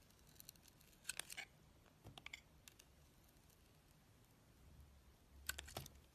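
A steel utility-knife blade carves thin slices off the black face of a solid oval bar of soap with a green rim and black core, held in the hand. Short, crisp, bright scraping clicks come in three quick clusters over a low, quiet background hiss. Each cut snaps off sharply, with almost no ring.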